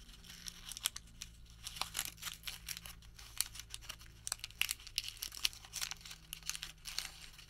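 A folded white thermal paper receipt is squeezed and crinkled into a small bundle with the fingertips. It makes a rapid run of crisp, bright crackles and soft tearing-like rustles over a faint, steady low hum.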